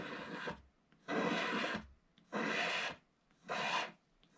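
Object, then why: Wax-coated scratch-art paper and wooden stick. A wooden stick scratches lines into the flat black wax coating of a scratch-art page in a book while the other hand steadies the page. Four long, dry, raspy strokes of about half a second to a second are heard, separated by near-silent gaps, with a fifth just starting at the end. The broad scraping hiss reaches bright highs, with little low end.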